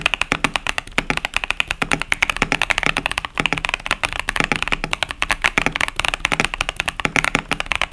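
Steady fingertip typing on a KBD67 Lite 65% plastic mechanical keyboard with tactile Boba U4T switches and plastic keycaps. The result is a rapid, continuous stream of short, crisp, bright clacks centered around 2 kHz, each dying away almost instantly, with a faint low thump beneath.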